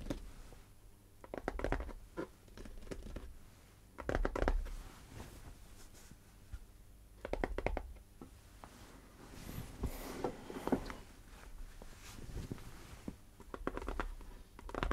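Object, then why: Composite cardboard can with metal rim. Fingernails scratch and tap the metal top rim and lid of a tall composite cardboard crisp can standing upright. Quiet, dry scratching and light tapping come in repeated bursts, with a dull, low-weighted body and short, clicky taps that die away almost instantly.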